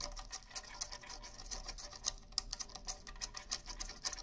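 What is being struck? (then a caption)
Rawhide-headed bongo drums. Fingertips and nails scratch and tap the edges of the hide heads on a pair of rawhide bongo drums held facing forward. A rapid, uneven run of dry, bright taps and scratchy patters sounds throughout, each one stopping almost instantly with no drum ring, over a faint low hum.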